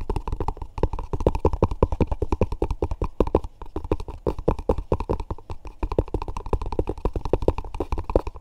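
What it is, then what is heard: Cardboard box. A small, hollow, rectangular cardboard box covered in dark grey textured paper with a yellow JCB label has its lid tapped and scratched quickly with fingertips and short nails. The result is a dense, fast run of dry, hollow, low taps with light scratchy texture. Each tap dies away almost instantly.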